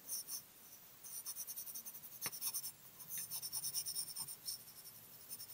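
A graphite pencil held in the fingers rubs and scratches across a small flat cream paper card bearing a coloured-pencil drawing, which lies on a white table, while shading. Quiet, bright scratchy strokes come in quick rhythmic bursts with brief pauses, and one sharper tick stands out partway through.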